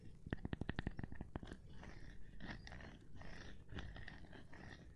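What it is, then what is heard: Cork board tapping. A gloved hand taps on a cork board, starting with a quick run of dull, low, sharply separated knocks that die away almost at once. The tapping then continues more softly and densely, blurring into a muted, scratchy texture for the rest of the clip.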